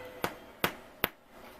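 A freshly baked homemade loaf of bread, just out of the oven and resting on a cooling rack, is thumped three times. Each thump gives a short, sharp, hollow knock that dies away almost at once. The sound shows the bread is baked through and done.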